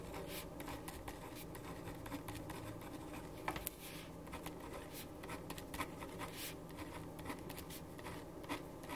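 A black ballpoint pen writes on a white paper sheet resting on a wooden desk. Soft, continuous scratching of the pen across the paper is heard, with frequent brief strokes and small taps over a low, steady background hum.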